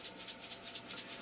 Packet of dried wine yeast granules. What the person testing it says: They're dried yeast. You can hear them rattling if you shake Yeah. the packet.